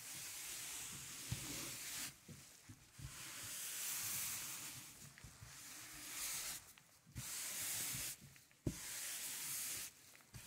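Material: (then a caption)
PVC. A white-gloved hand rubs a small record cleaning brush over the grooves of a 12-inch black vinyl LP, a thin solid PVC plastic disc lying flat on a velvet tablecloth, while the other hand steadies the disc. Long, bright, hissing brush strokes sweep across the grooves, broken by short quiet pauses. A few soft, low knocks come as the disc is handled.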